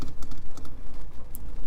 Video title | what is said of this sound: ASMR Car Tapping and Scratching - Ambient ASMR In the Rain | It's a nice chrome shift. I like the way it looks.